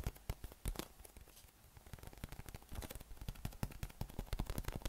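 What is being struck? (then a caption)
Inflated PVC nubby massage ball. A yellow, hollow, inflated PVC spiky massage ball is held in both hands and tapped and scratched over its nubs with fingertips and a thumb. It makes a quick run of short, dull, low thuds with crackly, scratchy texture between them. The taps grow denser and louder toward the end.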